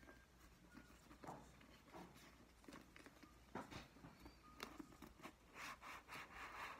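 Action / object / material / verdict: scrape / paperback book with glossy card cover / card / none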